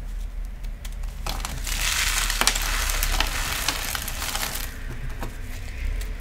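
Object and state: Cornstarch chunks crushed by hand.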